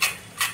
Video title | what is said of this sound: स्ट्रीट स्टाईल कुरकुरीत मसाले कॉर्न रेसिपी - Masale Corn Recipe - Street Style - Marathi Recipe - | काढून घेतलेलं आहे बघा अशी कुरकुरीत आवाज येतो